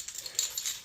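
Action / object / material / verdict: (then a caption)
tap / ceramic toilet top / ceramic / none. Light taps on the ceramic upper part of the toilet in a 2024 Jayco Pinnacle 38FBRK RV produce a quick run of about five sharp, bright, high-pitched clicks with very little ring. They confirm the top is ceramic, unlike the plastic lower section.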